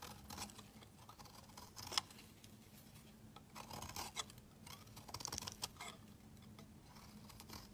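A metal utility-knife blade shaves flakes off the edge of a rectangular solid cream soap bar held in hand. The clip is quiet, with crisp, bright scraping strokes, one sharp click near the two-second mark, and a faint steady low hum underneath.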